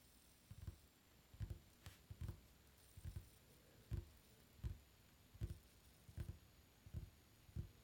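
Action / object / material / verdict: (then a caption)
tap / wooden tabletop / wood / none. Fingertips drum and tap on a solid, dark varnished wooden tabletop, making soft, low, dull thuds in short clustered bursts at a loose, unhurried rhythm. Each tap dies away almost instantly, with quiet stillness and a faint high hiss between the bursts.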